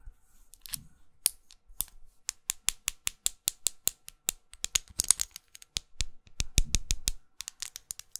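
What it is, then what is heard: Plastic lipstick case. A small red studded plastic lipstick tube with a dark band is held in the fingers and tapped and scratched with long acrylic nails. About thirty short, bright clicks follow in an uneven series, each dying away almost instantly. A few brief scratchy rustles and some low thumps are mixed in.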